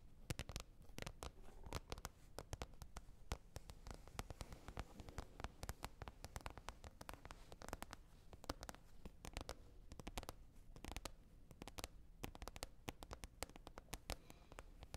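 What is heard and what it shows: Long red nails tap rapidly and continuously on a green plastic container lid. The many quiet, dry clicks die away almost instantly and overlap into a steady patter, with a low thud under each tap and brief bright edges on some.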